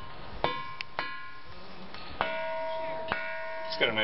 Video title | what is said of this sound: Ringing Rocks, Pipestone, Montana | It's got a nice ring.